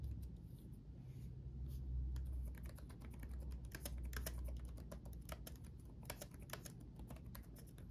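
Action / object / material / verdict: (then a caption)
tap / laptop keyboard with plastic keycaps / plastic / none. Both hands type rapidly with their fingertips on the backlit chiclet keyboard of a black laptop, its plastic keycaps set in a solid chassis. The result is a quick, uneven stream of light, bright key taps and clicks over a steady low hum.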